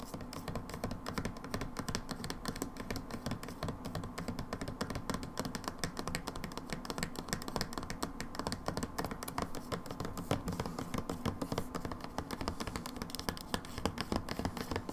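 Long nails tap rapidly and steadily on the label side of a plastic hand wash bottle that appears full as it is rotated and tilted. The taps are short, dull and clicky with a low-heavy body and little ring, forming a dense, even patter throughout.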